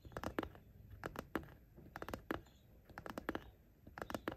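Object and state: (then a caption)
Fabric pencil case tapped and scratched. Short nails tap and lightly scratch the top edge next to the zipper of a patterned fabric zippered pencil case. The sound is a quiet, irregular run of soft, dry clicks in small clusters, each dying away almost instantly, with faint scratching between them.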